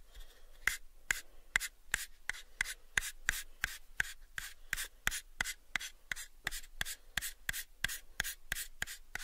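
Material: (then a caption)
Wood. Fingernails slowly scratch and rub along the faces of a pale, unfinished, hollow wooden box about 7 inches on each side. About 25 short, sharp, bright strokes repeat at a steady pace over quiet low rustling. Each stroke has a hollow tone near 2 kHz and dies away almost at once.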